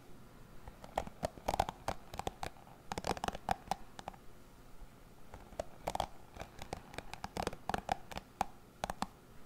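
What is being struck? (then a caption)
Plastic cushion hairbrush bristles. Fingertips run and scratch over the bristle tips of a dark plastic cushion hairbrush with many bristles, held to the left of the microphone. Quick, dry clicking and scratching bursts come in irregular clusters, each snap dying out almost at once, with a faint tonal tick around 780 Hz over a soft low rustle.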